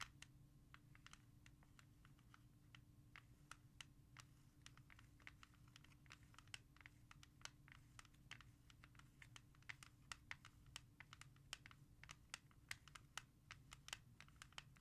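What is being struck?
Plastic CD jewel case.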